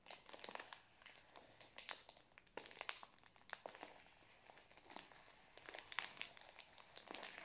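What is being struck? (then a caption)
Plastic-wrapped biscuit roll. Fingers rub, squeeze and crinkle the plastic wrapper of a full Prince biscuit roll. The result is a quiet, continuous stream of bright, dry crackles and crinkles with sharp snaps, almost no low end and no ringing after each crackle.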